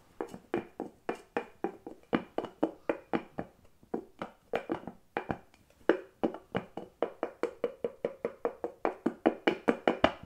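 A small clear glass jar filled with cotton pads and buds has its bamboo lid lifted off and handled while the jar is tilted, and fingers tap and knock on the lid and glass. About 40 quick, dry knocks in a fast, steady rhythm, each with a short hollow midrange tone around 645 Hz that dies away almost at once.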